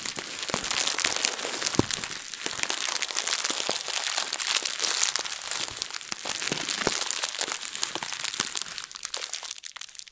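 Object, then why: Thin plastic bag. A translucent plastic bag is twisted and crumpled in both hands, making a dense, continuous crinkling with many sharp, bright crackles and almost no low end. The crackling stays steady throughout, then thins out and fades away in the last second.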